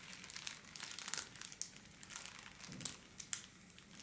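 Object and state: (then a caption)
Holographic foil wrapping paper. A thin pink holographic foil wrapping paper sheet, held under both hands, is scratched and crumpled with long black-polished nails. The result is a continuous, irregular crinkling rustle that sits mostly in the bright high range, with little low end. Sharp, quickly fading crackles stand out from the hiss.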